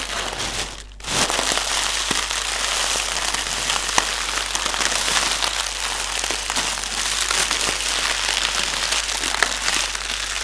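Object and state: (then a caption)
Plastic air pillow packaging. Fingertips tap, press and crinkle clear, hollow, air-filled plastic air cushions with green print, used as packaging. A steady bright crackling and rustling runs throughout, with sharp little taps and pops standing out. The sound dips briefly near the start.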